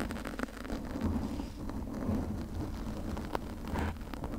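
Long nails on both hands scratch a pink foam windscreen on a condenser microphone. The result is a dense, continuous rumbling crackle, heavy in the low end, with a few sharper clicks standing out.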